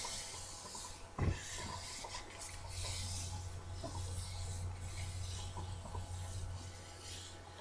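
A medium-sized paperback book, "Japanese Ink Painting," with a card cover is held in both hands while long dark-painted nails tap and scratch its cover. One sharp tap stands out near the start, followed by continuous soft scratching and rubbing over a steady low hum.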